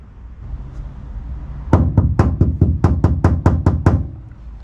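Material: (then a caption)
Sheet steel. Knuckles knock on a bare steel wall panel of a 2018 MWB VW Crafter van with no sound deadening applied, as a knock test. After a low background rumble, about a dozen quick, fairly regular knocks land in a rapid series, each a short, low thud centered near 94 Hz with a brief ring. The untreated panel sounds hollow and tinny.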